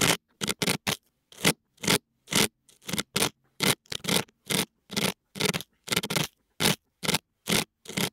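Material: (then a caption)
Silicone. A thin metal dental pick, held in fingers with long nails, scrapes inside the left ear canal of a white binaural dummy-head microphone's soft silicone ear. About twenty short, bright, scratchy scraping bursts repeat at an uneven pace, each close and crackly, with silence between them.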